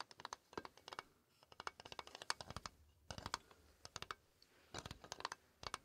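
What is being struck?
Toy xylophone, painted metal bars on a wooden frame.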